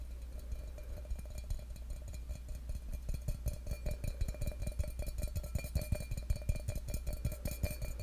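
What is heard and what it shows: Fingertips tap the side of a hollow, empty stainless steel tumbler held against a microphone. The taps come as quick, irregular, muffled thumps with a deep boomy low end and a faint metallic ring over a steady low hum. They grow denser and slightly louder as the clip goes on.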